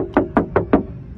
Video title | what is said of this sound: Fiesta 2013 động cơ 1.6 số tự động . Chắc chắn cứng cáp trẻ trung SĐT tư vấn 0855 966 966 | tiếng nó rất chắc chắn lên gõ vào có bảo nó rất chắc luôn